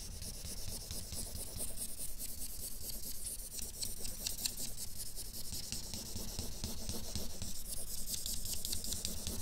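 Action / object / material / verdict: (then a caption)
scrape / felt-tip marker on drawing paper / paper / none. A felt-nib marker colors a flat sheet of drawing paper with rapid scrubbing shading strokes while the other hand holds a capped marker still. The result is a steady, continuous scratchy rubbing with a bright, hissy edge over a low rumble, the strokes blurring together without clear separate hits.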